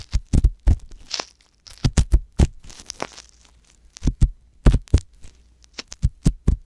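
A wooden ear pick scratches inside the canal of a soft silicone ear mounted on a white box binaural microphone. Close, dull scrapes and muffled thumps come in quick, irregular bursts, heavy and boomy in the low end with faint bright crackles. Brief quiet gaps separate the bursts.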